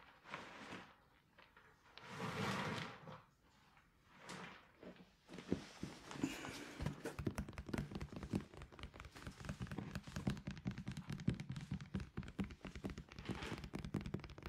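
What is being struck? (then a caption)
Hooded hard plastic cat litter box. A large hollow hooded cat litter box of hard plastic, with a white lid and blue base, is held against the body and tapped with fingertips and palm. A few soft, breathy swells come first, then from about five seconds on a quick, steady run of hollow, low thunks with short ring, each carrying a dull resonant body tone.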